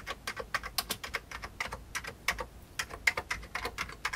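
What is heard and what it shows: One hand presses the keys of an old beige plastic computer keyboard with its fingertips, typing out about 27 quick keystrokes. Each press is a short, bright plastic click with little low end that dies away almost at once. The clicks come in an uneven, steady typing rhythm.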